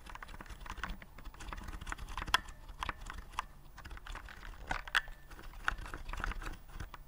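Fingertips press the keys of a white plastic typewriter-style keyboard with round keycaps, held upright. A steady run of quick, light plastic clicks and taps follows, each short and dry with a midrange click around 1 kHz, over a faint low rumble, with a few sharper, louder key strikes standing out.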